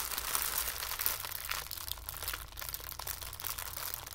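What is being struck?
Tissue paper ball.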